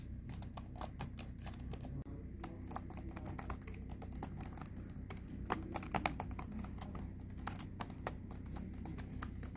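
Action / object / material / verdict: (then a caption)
tap / plastic laptop keyboard / plastic / none. A hand with long red nails types quickly on the plastic keys of a silver HP Envy laptop keyboard. Fast, irregular, crisp clicks and taps ring out brightly, each dying away almost instantly, with a brief pause near two seconds. A steady low hum sits underneath throughout.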